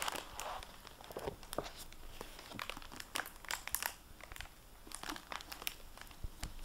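A hardcover library book, The Last Juror, in a solid, crinkly plastic dust jacket cover is handled and flipped by fingertips with painted nails, then set down on a wooden table. Dense, bright plastic crinkling and crackling fills the clip, with quick sharp ticks and soft rustles at a quiet level.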